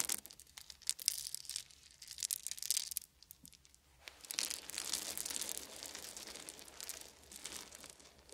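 Small solid wooden beads are poured from cupped hands onto a fuzzy blanket, then rubbed and pressed under the fingertips. Bright, crisp clicking and crinkling bursts come in the first three seconds, followed by a brief quiet pause. A steadier, softer rustling grind then runs to the end.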